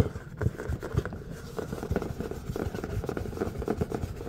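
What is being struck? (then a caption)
Thin plastic serving tray. An empty, large, flat red plastic serving tray, thin with a raised rim, lies on a surface and is tapped and scratched with the fingertips and nails of both hands. Quick, dull, low taps mix with soft scratching, each tap dying away almost instantly with no ring.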